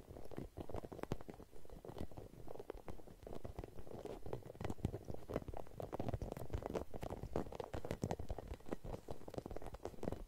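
Long nails scratch over a red hollow rubber spiky massage ball held close to the mic. The result is a quiet, dense stream of short crackling, scratchy ticks with a low, muffled, rumbling body, running irregularly throughout.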